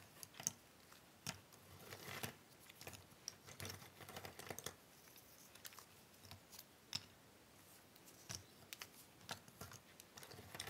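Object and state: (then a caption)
Cardboard jigsaw puzzle pieces being handled. Fingertips and long nails pick up, flip and shuffle small, thin cardboard jigsaw puzzle pieces from a large pile on a wooden table. Quiet, dry clicks and taps ring out between soft, bright rustling and sliding. Each tick dies away almost at once.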